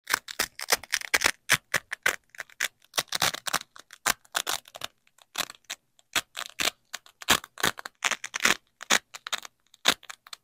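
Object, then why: Nylon hook-and-loop fastener strips. A wide yellow nylon hook strip is pressed against and peeled from a black nylon loop strip by hands in shiny black gloves. A rapid series of short, dry, crackling rips is heard, bright and crunchy with almost no low end and each burst cutting off immediately.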